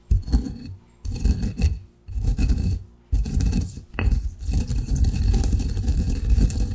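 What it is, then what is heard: Ground coffee in a granite mortar. A granite pestle rubs and grinds finer coffee grounds in a granite mortar, making a gritty, low-heavy scraping and rasping sound. Three short grinding bursts separated by brief pauses lead into a longer continuous stretch of grinding.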